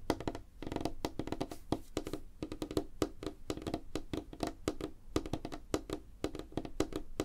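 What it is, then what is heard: Light wooden tabletop. Fingertips and nails of both hands tap quickly on a flat, solid, light wooden tabletop. A rapid, uneven stream of short, dry knocks follows, each with a woody body tone around 316 Hz, a low thump, and a faint crisp click from the nails. Every tap dies away almost instantly.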